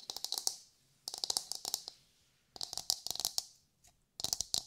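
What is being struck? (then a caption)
Coconut shell half. A hollow, brown, fibrous coconut shell half held in both hands is tapped and scratched with long nails. Four bursts of rapid, bright, dry clicks come with short pauses between them. Each tap stops almost at once with no low tones.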